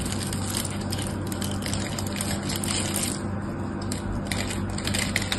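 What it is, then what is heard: Bar soap being cut. A small knife carves and scrapes cubes off a solid, palm-sized pink bar of soap held in the hand. Dense, crunchy scraping and crackling runs throughout, with bright bursts over a steady low hum.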